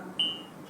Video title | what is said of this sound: Kebenaran Mulia sesi 2 Bhante Abhijato #abhijato #bhikkhu #bhikkhuabhijato #dhamma #dhammatalk | Kita ketuk ini ya. Ah, ini gelas. Gelas asli.